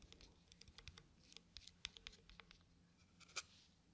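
Fingertips scratch and rub the lid of a small round plastic cosmetic cream jar held in one hand. The result is quiet, bright, irregular scratching and light tapping with very short, dry transients. One sharper click stands out near the end.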